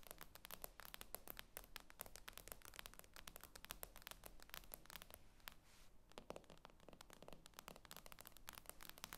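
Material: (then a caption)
Glass. Long nails tap rapidly on the glass screen of an iPad lying flat, making a dense stream of sharp, bright clicks with no ring. The tapping runs almost continuously at a quiet level, with a short lull near the six-second mark before it picks back up.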